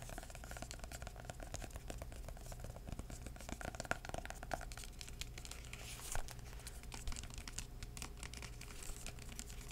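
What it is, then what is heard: Hardcover book. A hardcover book with a purple floral cardboard cover is held in the hand and tapped and scratched on the cover with the fingertips. Quiet, rapid soft taps and dry scratching rustles run continuously over a steady low hum, with a few slightly louder taps standing out.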